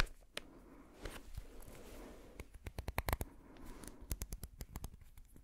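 A small amber glass dropper bottle with a white and blue dropper cap is held in one hand while fingertips tap and handle the cap. The result is a quick series of short, dry clicks with bright, crisp edges that stop almost instantly, over a soft low rustle of handling.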